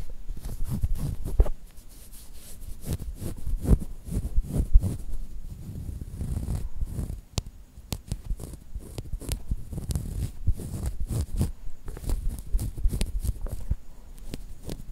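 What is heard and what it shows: A handheld black plastic Zoom recorder with a hollow casing lies on a table and is tapped and scratched with fingertips and nails. The result is a steady run of soft, dull, low thumps and muffled scratching, with occasional sharp, bright clicks over a faint hiss.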